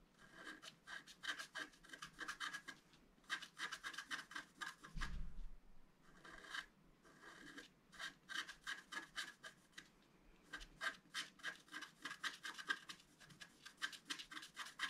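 A wooden stylus scratches fine lines into the wing area of a flat, black-coated scratch art card, about A4, lying on a table. Quick, bright scratching strokes come in bursts separated by short pauses, with a brief low thump just after the five-second mark.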